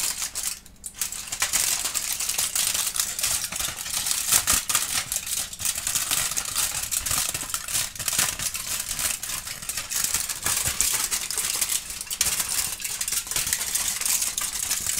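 A thin, wrinkled aluminum foil sheet is gripped in both hands and continuously crumpled and crinkled, producing a dense, bright, high crackling with short sharp snaps throughout. The foil ends spread wide while a kitten looks on.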